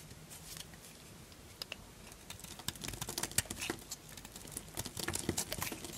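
A small purple-handled knife scrapes and cuts a solid, dry white Duru soap bar held in the hand. Quick, irregular, dry crunchy scrapes and crackles pile up, bright and close, starting soft and growing busier and louder toward the end.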